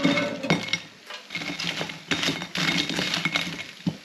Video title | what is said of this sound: COSORI DUAL BASKET 8 5LTR AIR FRYER REVIEW | Right, so there's the roast potatoes done. Listen how crispy these are, guys.